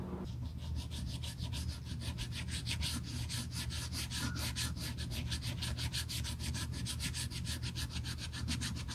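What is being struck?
Leather handbag strap rubbed with sandpaper.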